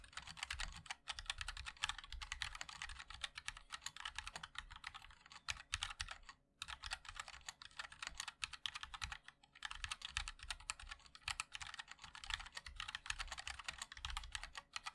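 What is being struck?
Mechanical keyboard with plastic keycaps.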